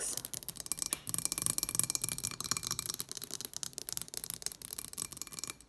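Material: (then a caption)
Glass. Long nails tap rapidly on the sides of a tall, clear glass cylinder candle with decorative contents inside as it stands on a table. The taps are quick, bright, high-pitched clicks with almost no ring, coming in a dense, uneven stream.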